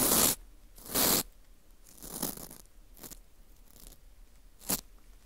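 A teal plastic scraper scrapes a porous, dried wheat gluten ring (fu) with a hole in it, crumbling off bits. The result is a series of dry, bright, crunchy scraping bursts with quiet gaps between them. The first two bursts are loud and sustained, and the later ones are softer and shorter.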